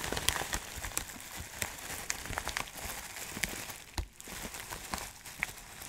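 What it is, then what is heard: Plastic bag of dry loose herbs. A clear plastic bag of dry loose herbs is held in both hands and squeezed and shifted, so the contents rustle. Bright, dense crinkling is broken by repeated sharp crackles, with a brief quiet dip around four seconds.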